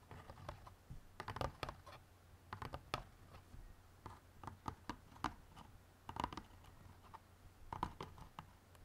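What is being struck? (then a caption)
Cardboard jigsaw puzzle box. Fingernails tap on the outer side walls of an open white cardboard jigsaw puzzle box bottom that holds a bagged puzzle. The result is a quick, uneven run of short, dry clicks and ticks with a hollow cardboard tone, each dying away almost instantly over a faint low hum.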